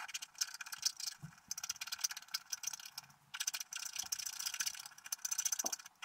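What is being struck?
Wax-coated scratch art card scratched with a wooden stylus.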